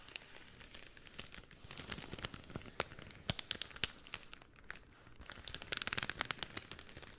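A pink cellophane sheet is flexed, then rolled into a tube and squeezed with the fingers. It gives a quiet, steady run of bright, dry crinkles and sharp crackles with almost no low end. A denser burst of crackling comes near the end.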